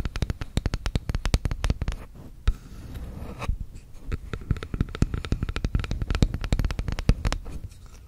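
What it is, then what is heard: Bamboo spoon tapped and scratched with nails. Long red acrylic nails tap and scratch the handle of a long, flat, solid bamboo wooden spoon or spatula held horizontally above a fluffy microphone. Quick, dull, bass-heavy taps come in rapid, uneven bursts, broken by a softer stretch of scratching in the middle. Each tap dies away almost at once.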